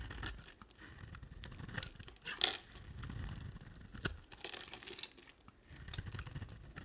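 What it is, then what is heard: Bar of soap being shaved. A utility knife blade shaves curls from a cream soap bar with a red rim. Dry, crackly scraping and tearing come in short bright bursts, with a sharper snap near the middle, over a quiet low rumble.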